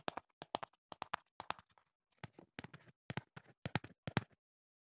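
Fingertips tap the flat panel of a hollow printed cardboard box held beside the microphone. About twenty quick, dry taps come in small clusters, with a brief pause near the middle. Each has a low, hollow thump and a bright papery click that stops almost at once.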